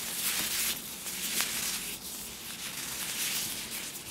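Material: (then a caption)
Plastic. Hands in thin, clear plastic disposable gloves coated with oil are rubbed and squeezed together in front of a small black microphone. The result is a continuous, slick, bright rubbing and squishing sound with almost no low end and no separate hits.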